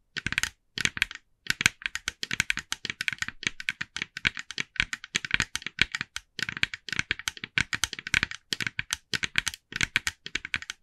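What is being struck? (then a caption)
Plastic jack-o'-lantern decoration. Long nails on both hands tap rapidly on the face of a hand-sized, hollow, glossy orange plastic jack-o'-lantern decoration. The taps come in quick bursts of sharp, bright, clicky hits with almost no low end. Each tap dies away almost instantly.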